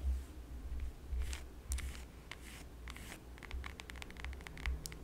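Long yellow acrylic nails tap and scratch the peel of a whole, solid, fresh lemon held in the hands. Quiet, dry scratching strokes mix with a run of short, sharp clicks over a low, steady rumble.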